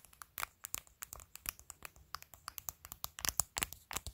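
Long pointed nails tap and scratch across the face and edge of a clear glitter plastic phone case covered with acrylic press-on nails. The result is a quiet, quick, irregular run of sharp, bright clicks and brief scratchy crackles, each dry and dying away instantly.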